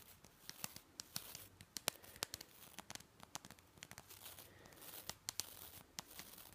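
A long-nailed finger brushes and flicks across the nylon bristles of a green and white plastic toothbrush. The result is a rapid, uneven series of sharp, dry, bright crackling flicks over a soft, scratchy, hissing rustle. Each snap stops almost instantly, with very little low end.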